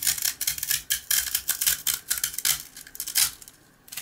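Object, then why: Toasted rusk slice scraped with a blade. A box cutter blade scrapes across a rectangular, dry, toasted rusk slice with a dark speckled coating, held flat in the palm, revealing the pale rusk underneath. Repeated short, bright, gritty rasps and crunches follow in quick succession, with almost no low end. The scraping grows quieter toward the end.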